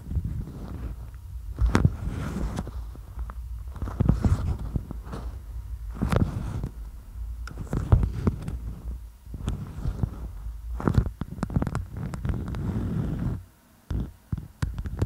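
A flat sheet of stiff, beeswax-coated patterned cotton food wrap is held in both hands close to the microphone while long nails grip, fold and scratch it. It produces dull, low crinkling and soft thumps, with scattered sharp taps and scrapes that cut through. The handling goes quiet briefly near the end before a few more crisp taps.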